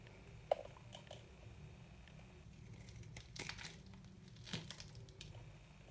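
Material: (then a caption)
Soap. A metal knife cuts and scrapes crumbling chunks off a white, solid, very hard dry soap bar held in the hand, over a pile of soap powder. A sharp crack opens the clip, followed by quiet dry crunching and crumbling scrapes. Two brighter, longer scraping bursts follow, over a steady low hum.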